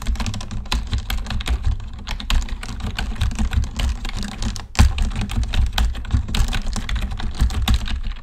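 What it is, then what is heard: Plastic computer keyboard being typed on. Both hands type with the fingertips on a black plastic computer keyboard, giving a dense run of quick, dry key clicks. A low thumping rumble sits under the clicks for the whole clip. There is a brief lull near the middle before the typing picks up again.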